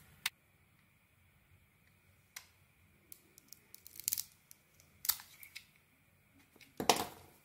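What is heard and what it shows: A solid bar of soap with a camouflage-patterned coating is held in the hand and sliced and scraped with a metal blade, exposing a green interior. Short, crisp, bright cuts and scratchy scrapes come at irregular intervals over a quiet background, with the densest scraping near the middle and a louder cut at the end.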